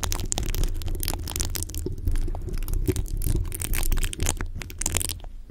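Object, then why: Metal mesh microphone grille. Fingertips and short nails of both hands scratch and rub the bare, rounded, hollow metal mesh grille of a large condenser microphone. The result is a continuous, dense scraping texture with a heavy, boomy low rumble around 62 Hz. Quick bright crackles and scratches flicker over the top.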